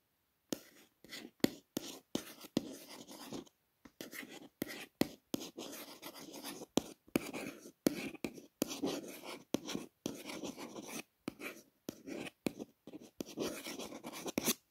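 A long fingernail traces the raised letters of an embossed silver foil FB logo on a purple cardboard box lid. It makes quiet, dry scratching strokes in short bursts separated by brief silences, with a bright rasp over a soft midrange body.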